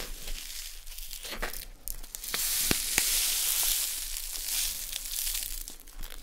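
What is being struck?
Plastic packet of poppy seeds.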